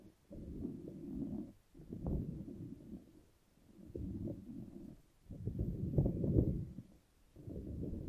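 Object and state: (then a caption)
Rubber puffer ball being squeezed. A hand-sized green soft silicone/rubber puffer ball covered in many floppy spikes is squeezed and squished in one hand close to the microphone. It makes low, muffled squelchy rubbing sounds that come in bursts separated by short pauses. The ball feels soft and solid.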